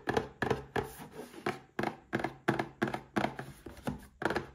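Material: Cardboard.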